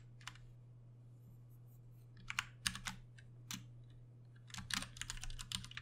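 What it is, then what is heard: Plastic mechanical keyboard being typed on. A compact 60% Ducky One 2 Mini mechanical keyboard with Cherry MX Brown switches and plastic keycaps, its backlight dimming, is typed on with the fingertips of both hands at a slower pace. Short, bright plastic clacks come in irregular bursts over a steady low hum, sparse at first and then bunching into a denser flurry near the end.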